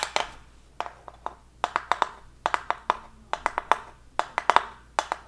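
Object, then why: Thin plywood heart cutout. Long acrylic nails tap and scratch a flat, thin, unfinished light plywood heart cutout with a small hanger at the top, held upright in both hands. About twenty-two quick, dry clicks in irregular clusters, each with a woody knock around 950 Hz, a bright edge and almost no ring, over a faint scratchy rustle.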